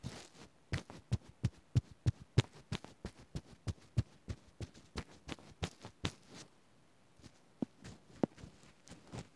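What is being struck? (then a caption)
Small stuffed plush toy with fuzzy fabric. A fingertip taps and rubs the fuzzy black, white and blue fabric on the head and body of a small stuffed Oswald Tsum Tsum beany plush toy, first standing upright and then held. About 25 soft, dull, low thumps come in a quick, uneven run, with faint brushing between them. After a short quiet gap the taps return more sparsely.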